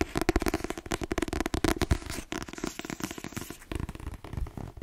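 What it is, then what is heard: Paperback book with glossy cover. A blue Jeffrey Archer paperback with a glossy cover, solid and held in the hand, is tapped quickly with long nails. The result is a dense run of crisp, dry clicks with a low thud underneath that fade almost instantly. A faint crackle runs between the clicks.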